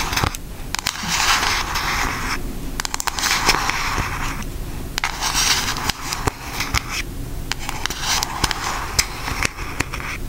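Long acrylic nails tap and scratch on a pink cardboard Aristocats eyeshadow palette held upright in front of the face. Bright, crackly scraping bursts alternate with sharp, dry clicks over a low steady rumble. The taps are quick and close together, each dying away almost instantly.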